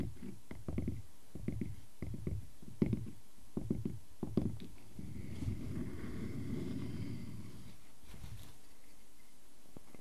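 Fingernails scratch the ringed face of a solid wooden log slice resting on a table, then scratch along its bark edge while the slice is held. Short, dull, low scratching strokes come first, followed by a steadier, continuous low rasp that fades into quiet near the end.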